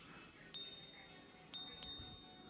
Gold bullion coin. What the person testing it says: if you can hear that ping, like gently tap the coin.